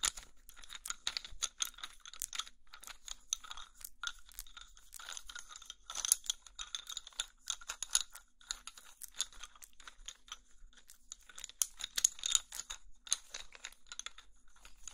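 A bundle of about ten solid brown wooden twigs, roughly 15 cm long, is held in both hands and shifted so the twigs click and knock against each other. The result is a steady stream of dense, dry, bright clicks and crackles with almost no low end, each tap dying away almost instantly, with a few louder flurries along the way.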